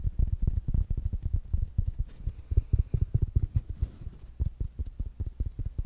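A small, rounded black smart speaker with a fabric mesh cover is tapped quickly with fingertips and nails. This makes a steady run of soft, dull, low thuds that die away almost at once, with little high-end sound.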